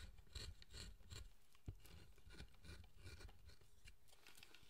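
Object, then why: Wooden figure being carved. A chisel cuts and scrapes the surface of a carved wooden statue, a solid pale wood figure held in the hand. Short rasping, scraping strokes repeat with soft low knocks and a bright hiss over a quiet, steady background.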